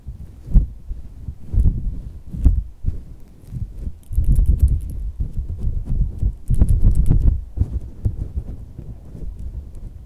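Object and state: Soft silicone squishy toy.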